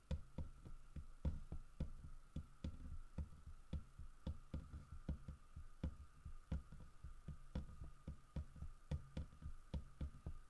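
Fingertips and nails tap the carved fur on the back of a large, solid carved wooden bear figurine, making 23 short, dull knocks in a loose, uneven rhythm. Each tap is a quick, low, woody thud that dies away almost at once, over a faint steady hum.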